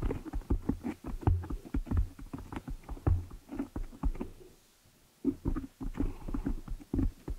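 Long nails and fingers scratch and rub the black foam cover on a desktop microphone, producing a rapid run of about two dozen dull, boomy scuffs and thumps. The sound is heavy in the low end with almost no brightness. It falls quiet for roughly half a second near the five-second mark, then resumes.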